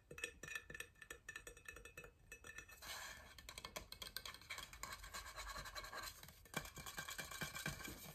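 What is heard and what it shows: Fingernails scratch and tap the sides of a large, hollow, blue powder-coated insulated stainless steel water bottle held upright. A quick run of light, dry taps with almost no ring gives way after about three seconds to denser, brighter scratching mixed with taps, and the clicking continues steadily to the end.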